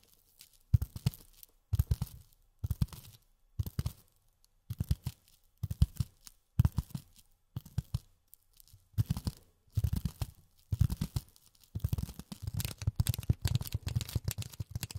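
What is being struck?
Polyethylene foam sheet.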